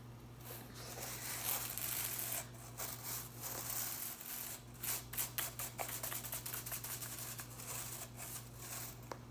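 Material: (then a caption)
Plastic. A hand strums and flicks the ends of the blue plastic bristles on a broom head. Bright, crisp swishing and rustling come first, then a run of quick, sharp ticking flicks over a faint low steady hum.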